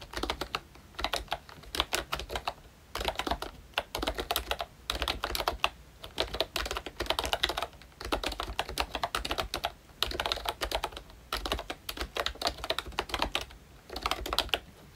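Fingertips type continuously on a ROYCHE Disney Mickey Mouse plastic retro membrane keyboard with round keycaps. Dense bursts of soft, bright clicks and clacks come in quick runs, broken by brief pauses, with a faint low hum beneath.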